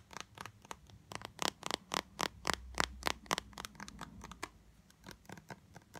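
A small, blue, translucent, squeezable plastic tube of Disney Resorts body lotion, filled with lotion, is held in the hands and tapped and scratched fast with long light-blue acrylic nails. About two dozen quick, bright, dry clicks come in an uneven rhythm, each dying away almost at once. Soft scratchy rustling fills the gaps between them.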